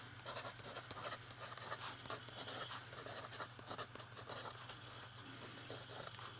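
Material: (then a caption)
Paper. A fountain pen writes on the page of an open lined paper notebook, its nib scratching across the paper in quick, bright strokes. The scratchy bursts rise and fall over a steady low hum.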